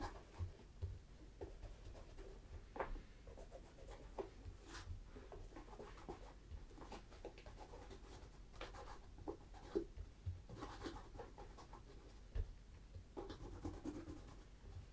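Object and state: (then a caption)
Leather boot. Fingertips wrapped in a cloth rub wax in circular strokes over the leather toe cap of a tan leather brogue ankle boot, a Tricker's Stow in Acorn, held upright, hollow and empty. The sound is a quiet, steady, soft scratchy rubbing, weighted toward a low rumble with occasional brief, slightly louder scuffs and little bright content.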